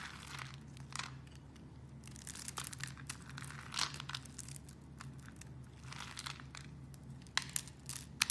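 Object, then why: Green bar soap. A blade cuts through a rectangular solid green soap bar that has been pre-scored into a grid, so small cubes crumble off. The sound is a quiet, dry, bright crunching and crumbling over a faint low hum, with a few sharper, louder snaps near the end.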